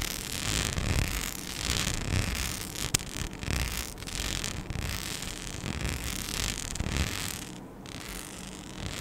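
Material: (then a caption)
Rhinestone. A palm-sized, flat, flexible sheet covered in small rhinestones with cut-out holes is scratched with long nails, giving a continuous gritty, zipper-like rasp. The scratching stays busy across the clip with brief louder ticks, a low rumble underneath, and bright scratchy detail up high.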